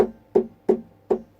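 Knocks and taps on the body of a wooden Blueridge acoustic guitar with its strings muted give four short, hollow, woody thuds, each with a brief buzzy rattle that quickly dies away. The annoying rattle comes from a loose tuning key wing, the "butter bean" button, not from a loose truss rod as first suspected.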